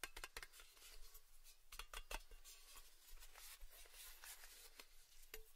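Fingertips and nails tap the top and rim of a round, orange printed metal lid from a Baileys tin, palm-sized and hollow, held in both hands. A series of light, sharp clicking taps with a bright metallic tick that fades almost instantly, set against a low, quiet background.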